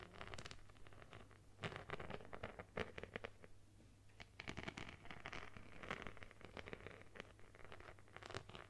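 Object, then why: Plastic phone case covered in beads. Long nails scratch across a plastic phone case covered in multicolored beads, making quick bursts of dry, clicky rattling and scraping that stop and start. The sound is quiet and close, with bright crackly edges over a steady low hum underneath.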